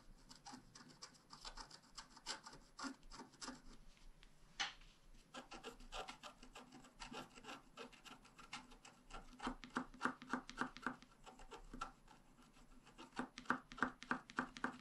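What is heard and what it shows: A wooden stylus tip scratches a flat, black wax-coated scratch-art card, about A5 size, made of solid thin card and lying on a table. Quick, dry, raspy scratching strokes repeat at an uneven pace, with short bursts and brief pauses. The strokes grow denser and sharper toward the end, each one a soft, brief rasp with no ringing.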